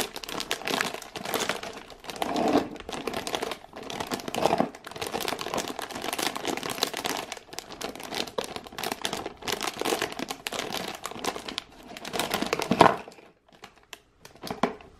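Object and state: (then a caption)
Plastic-wrapped cardboard box being scratched. A full cardboard biscuit box in thin plastic film is tilted and held in both hands while fingertips and long nails grip and scratch the wrap. This produces a dense, continuous crinkling and scratching with bright rustle and many quick clicks. The sound drops near the end, leaving a few brief crinkles.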